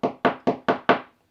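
Five quick, evenly spaced taps on the darker section of an old fibreglass repair laminate give short, solid knocks centred around the midrange that die away quickly. The repair sounds firmly bonded and attached.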